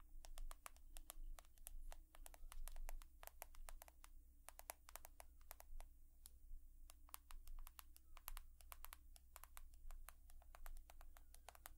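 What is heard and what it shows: An iPhone of glass and metal is tapped rapidly with long nails, producing a steady stream of crisp, bright clicks. The taps sit over a constant low hum.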